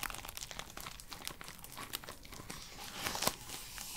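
Long purple nails tap and scratch the outer wall of a small, empty pink paper cup held in the hands close to the mic. The result is a steady stream of soft, bright crinkling and crunchy ticks, with one sharper, louder click near the end.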